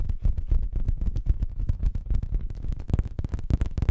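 Long nails scratch and tap an orange printed fabric throw pillow held close to the microphone. The result is a dense, irregular stream of soft, muffled thumps and rustling scratches, deep and boomy, with brief bright crackles on some strokes.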